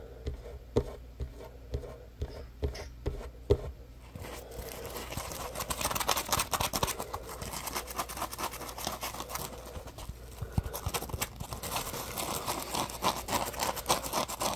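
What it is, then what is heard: Foam scrub sponge. Fingers scratch and rub a solid yellow Scrub Daddy sponge made of textured polymer foam with a ridged top. The first four seconds bring a series of separate, sharp scratchy taps. These give way to continuous, dense, bright rubbing and scraping that crackles steadily to the end.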